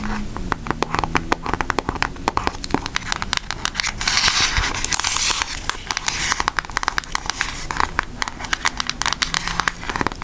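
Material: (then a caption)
Cardboard. Long acrylic nails tap rapidly on a pink Aristocats cardboard eyeshadow palette, producing a dense stream of sharp, bright clicks with almost no ring. Between about 4 and 5.5 seconds, a louder crinkly, scratchy texture rises under the taps before the steady tapping continues.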